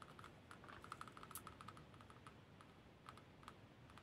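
Fingernails tap and scratch a Khokhloma-painted lacquered wooden spoon whose small solid bowl is held in the palm, with a pearl bracelet on the holding wrist. Quick, quiet clicks ring briefly with a tone near 1.3 kHz and a bright top, over a soft scratchy bed. The taps come in a fast, uneven run, busiest in the first half.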